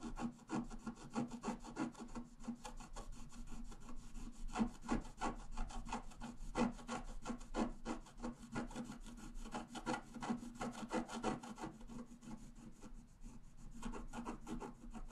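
A wooden stylus point is scratched across a flat A4-size scratch-art sheet with a black coating over a rainbow layer, lying on a table while the other hand holds the sheet. Quiet, dry rasping strokes repeat quickly and somewhat unevenly, about three per second, with a low, steady tone running underneath.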